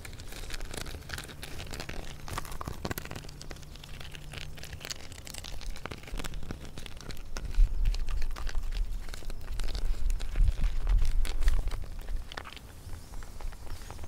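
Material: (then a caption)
Bark. Long painted fingernails of both hands scratch the thick, rough, deeply furrowed bark of a large solid tree trunk outdoors while a dog passes in the background. The clip is a dense run of dry, crackling, crinkly scrapes over a steady low rumble, and it grows louder and busier through the middle and later seconds before easing off near the end.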